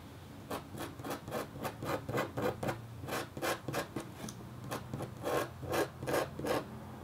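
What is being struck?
Copper-foil scratch art board.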